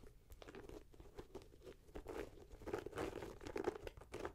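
A red-grey Nike Air Max 90 with a leather and mesh upper and rubber sole is held in the hand while long nails scratch and tap the upper and laces. The result is a dense run of soft, crunchy scratches and quick dry taps that grows busier and louder toward the end.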